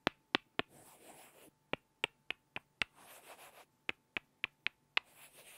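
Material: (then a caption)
Wood. Two small, solid light-wood blocks are knocked together face to face by hand, giving 13 sharp, dry, bright clacks in three groups with almost no ring. Between the groups come soft, hissy rustling sounds, and a faint steady tone hums underneath.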